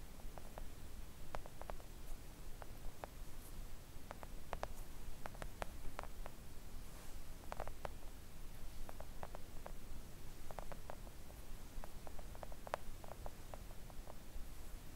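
Long coffin-shaped press-on nails gently tap a thin, solid, flat pink silicone nail art mat lying on a table. The result is a quiet, irregular patter of soft, dull clicks over a low background rumble, each tap dying away almost instantly.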